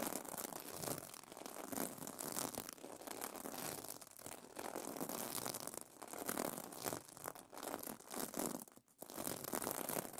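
Fingernails scratch across the plastic sequins of a sequin pillow cover. The result is a dense, continuous scratchy crinkling rasp, mostly mid to high with little low end, that swells and fades in strokes with brief pauses between passes.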